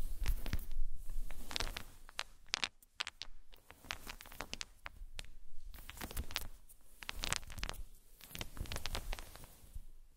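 Small solid unfinished wooden balls are gathered and rolled on a fluffy blanket by hands with long nails, so they clack against each other. Many short, dry, bright clicks come in uneven bursts over a low, soft rumble of movement on the blanket, and each click dies away almost at once.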